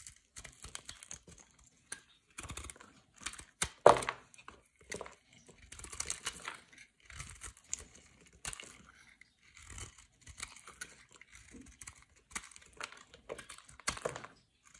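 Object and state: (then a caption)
White soap bar being shaved. A small sharp blade scrapes and shaves curls off the surface of a solid rectangular white bar of soap with embossed edges, held in the hand. Quiet, dry, crackly scraping strokes come in irregular bursts separated by short pauses, mostly bright and hissy with little low end, with one sharper, louder scrape near the four-second mark.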